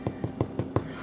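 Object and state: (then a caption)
Hollow-sounding baked bread loaf, done. A loaf of bread baked for about 32 minutes is knocked five times to test whether it is done. Each knock is a short, hollow, low thump like knocking on a door. The hollow sound means the bread is baked through and ready.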